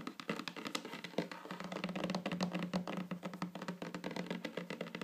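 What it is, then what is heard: Fingernails tapping a wooden tabletop. Long fingernails of both hands tap in rolling patterns on a flat, solid wooden tabletop, making dense, quick, dry clicks. Each tap dies away almost at once over a low hum that holds steady near 176 Hz.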